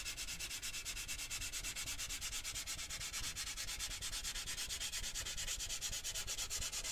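Fingertips and nails rub and scratch the side of a large, lidded, handheld cylindrical metal cheese-puff tin decorated with a Christmas puppy print. The result is a steady run of quick, rhythmic scratching strokes, about two per second, with a bright, hissy texture and a faint low rumble underneath.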